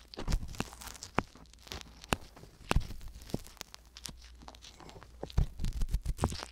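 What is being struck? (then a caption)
Silicone ear microphone scraped with a wooden pick. A wooden ear pick, held with long yellow nails, scratches continuously inside both ear canals of small, solid, pale silicone ear microphones. The result is a dense run of close, dry scraping and crinkling clicks with sharp broadband transients over a low rumble, alternating between busier and quieter stretches.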